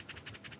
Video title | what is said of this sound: James May Attempts To Build A 1957 Dial Telephone - Reassembler | That is the sound of carbon granules inside there.